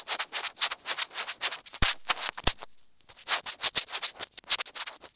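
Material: Plastic.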